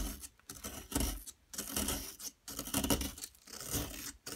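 A solid yellow plaster excavation block is scraped with a metal pick tool while crumbs fall away. Rough, gritty scraping comes in uneven bursts about once a second, with broadband rasping that reaches bright highs and short quiet gaps between strokes.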